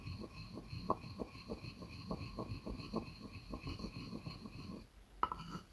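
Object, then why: Wooden mortar and pestle. A wooden pestle rubs and knocks inside a light, hollow wooden mortar, making a run of soft, dull, low taps over a faint steady tonal hum. The sound briefly goes quiet before one sharper, brighter knock rings out near the end.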